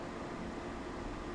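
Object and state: Nothing is struck.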